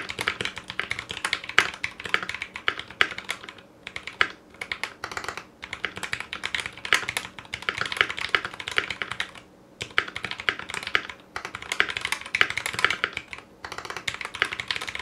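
Fast typing with both hands' fingertips on a 60% Clueboard mechanical keyboard with Zealios V2 62g switches, a foam-lined metal case, GMK ABS plastic keycaps and a coiled cable. It makes a dense stream of bright, crisp clacks with very short decay, broken by brief pauses.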